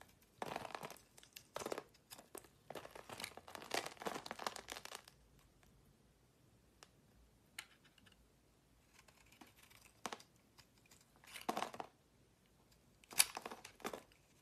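A utility-knife blade shaves crumbly slices from a solid purple marbled soap bar held in a palm. Bursts of dry, crisp scraping and crackling come in clusters with quiet pauses and a few sharp ticks between them. The sound is bright with almost no low end.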